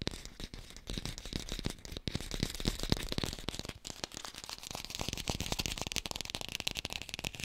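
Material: Plastic.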